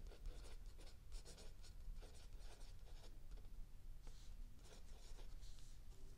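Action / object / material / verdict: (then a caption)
scrape / paper notebook page written on with a pencil / paper / none. A mechanical pencil writes continuously on a lined paper page of a spiral-bound notebook lying flat on a wooden table, while an open paperback book rests still under the other hand. Quiet, dry scratching comes in short bursts of bright, papery stroke noise over a low background hum.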